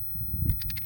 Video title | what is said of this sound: Spring time bass bait's | it's just got one rattle in it